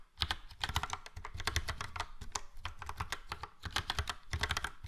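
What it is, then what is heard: Plastic mechanical keyboard being typed on. Fingertips of both hands type steadily on a full-size plastic Logitech POP Keys mechanical keyboard with a yellow frame and round dark grey and light grey typewriter-style keycaps. The result is a rapid stream of dry, clacky keystrokes, each with a low thock and a bright click that die away almost instantly.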